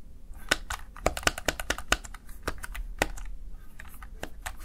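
Keys on a small backlit plastic Razer Tartarus Chroma gaming keypad are pressed and tapped by the fingertips and nails of one hand. The result is a quick, irregular series of short, dry plastic clicks with bright, crisp tops and no ring-out.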